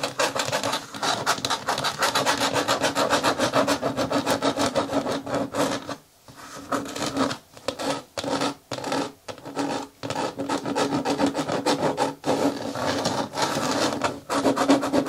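Long nails scratch and tap along the rim of a green hard plastic bin lid, seen from above. Steady, dense scratching fills most of the clip, broken around the middle by a stretch of short, separate bursts and brief gaps. It then returns to continuous rubbing with a dry, bright texture.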